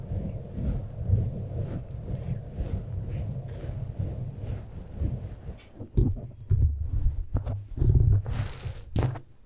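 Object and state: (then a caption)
Foam microphone windscreen being scratched. Fingertips and short nails grip and scratch a black foam windscreen on a standing microphone, then both hands scratch its sides. The sound is a dense, muffled, low rumbling scratch, giving way to louder, uneven thumps and rustles toward the end.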